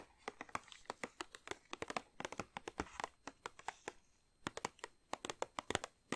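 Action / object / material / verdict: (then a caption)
tap / plastic film bag of wrapped chocolates / plastic film / none. A large red plastic-film bag of Lindor milk chocolate truffles, full of individually wrapped truffles, is tapped and crinkled with long dark-painted nails and fingertips. Quick, bright crinkly plastic taps and clicks come in dense bursts with a short pause in the middle, each snapping off almost instantly.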